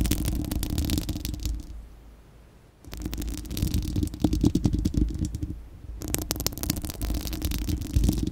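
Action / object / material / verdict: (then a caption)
scrape / steel wire-mesh microphone grille / steel mesh / none. Long acrylic nails of both hands scratch and tap a bare, hollow, fist-sized spherical steel wire-mesh microphone grille. Dense, low, rumbling scratches come with crisp ticking taps and bright rasping edges. A near-silent pause around the two-second mark and a brief quieter dip near five and a half seconds break up the scratching, which then resumes.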